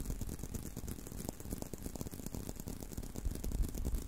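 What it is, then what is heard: Leather belt tapped and scratched. Fingertips and short nails tap and scratch along the outer surface of a long, thin, solid tan-brown leather belt strap held curved in a loop in front of a microphone. The result is a quiet, steady stream of soft, dull, low-pitched thuds with a faint scratchy rustle, with no ringing after each tap.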